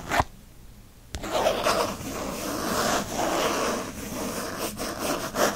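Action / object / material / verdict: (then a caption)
scrape / faux leather planner cover / faux leather / none. Fingertips and nails scratch quickly across the printed faux leather cover of a disc-bound book planner with a bookshelf design, lying flat and solid on a fleece blanket. After a brief opening sound and a short quiet pause, a dense, continuous rasping scratch runs to the end, rising and falling in bright, papery bursts.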